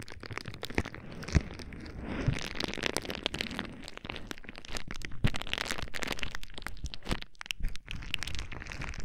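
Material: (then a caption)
Plastic. Fingertips squeeze and pop the bubbles of a clear plastic bubble wrap sheet held right at the microphone. Sharp, quick cracks and snaps burst out irregularly over a steady crinkling and rustling of the plastic, with a close, bass-heavy thump to the louder pops.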